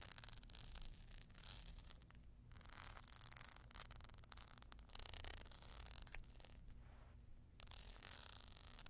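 Long glittery nails scratch and tap along the horizontal ribs of a small, hollow, empty clear glass vase standing on a furry surface. Bright, raspy bursts of scraping come in quick runs with short quieter gaps, over a steady low hum.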